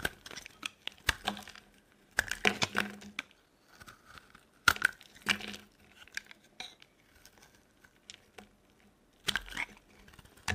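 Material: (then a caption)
Soap. A metal blade cuts slabs and shavings off a solid, dry orange soap bar held in the palm. It makes irregular bursts of crisp, crunchy scraping and cracking, with bright, brittle snaps and a faint tinkling tone near 1.4 kHz, separated by short quiet gaps. The slabs and shavings break away with dry, clipped sounds that fade almost instantly.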